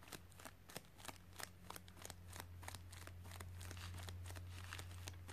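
Fingernails scratch and tap on a white padded plastic mailer with contents inside as it rests on carpet, making quick, sharp, bright clicks and scrapes. Both hands then lift and squeeze the mailer, so the taps give way to denser, steadier crinkling over a constant low hum.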